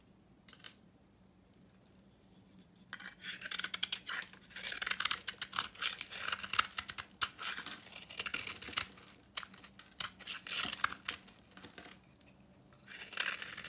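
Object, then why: Bar of soap scraped with a knife. A utility knife scrapes an old, very dry, painted copper-orange bar of soap held in the hand, shaving off powdery chunks. After about three seconds of near silence, dense, crisp, bright scraping and crackling starts and continues in bursts, with a pause near twelve seconds before resuming at the end.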